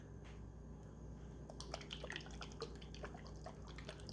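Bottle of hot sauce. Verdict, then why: Runny. A bottle of "Don't Touch The Baby" hot sauce from Anderson & Son Pepper Co. is shaken, giving quick, irregular liquid sloshes and drip-like splashes over a steady low hum. The thin, liquid consistency can be heard in the shake. The sauce is more liquidy than usual and contains seed chunks.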